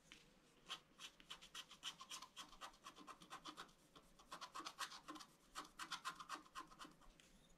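A bamboo stylus scratches a flat scratch-art card of black wax-coated paper in rapid strokes while a hand holds the sheet flat. The result is a quiet run of dry, bright, raspy scrapes in short bursts, with brief pauses between the flurries.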